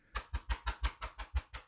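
Nine quick, evenly spaced taps on the textured plastic back of a new Kobo e-reader, checking whether it is rubber or plastic. Each tap is a short, dull, low thud with almost no ring, and the back sounds like plastic; its texture gives it grip.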